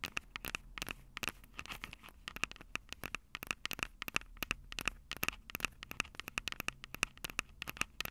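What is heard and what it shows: Long purple acrylic nails scratch and tap the two metal-grilled microphone capsules of a plastic-bodied Tascam DR-05 handheld recorder. Dozens of sharp, bright clicks and scratchy taps follow one another with almost no ring, each carrying a tinny tone near 2.6 kHz over a faint low hum.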